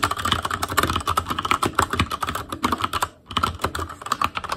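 A full-size ASUS ROG Claymore Core mechanical keyboard, with plastic keycaps on Cherry MX Red switches, a metal plate, a hollow case and RGB backlighting, is typed on rapidly with the fingertips of both hands. Dense, clacky key taps come in quick succession, with a bright click tone around 1.3 kHz and a hollow low thump under each stroke. Typing pauses briefly just past the three-second mark, then resumes at the same fast pace.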